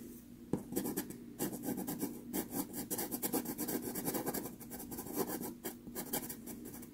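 A wooden-cased teal pastel pencil held in the fingers scratches short drawing strokes across a small 4.5 inch square of sanded Pastelmat paper taped flat to a board. The result is a quick run of dry, gritty, bright scratching strokes that blur into one another, with brief pauses and a faint low hum underneath.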